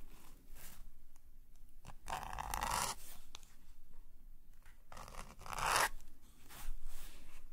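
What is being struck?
Metal nib pen on a sketchbook paper page.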